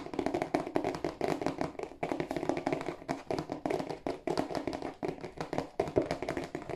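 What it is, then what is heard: Cardboard tissue box. Fingertips and nails tap rapidly on the broad face of a hollow, glossy cardboard tissue box held in both hands. The quick taps come in dense bursts with brief pauses between them. Each one gives a short, dry, hollow knock centred in the low-mid range that dies away almost at once.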